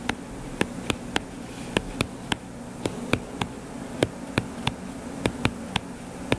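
Fingertips tap quickly on the cover of a closed hardcover paper book lying flat and solid, making 17 short, dry, bright taps at uneven intervals. A steady low buzzing hum continues underneath throughout.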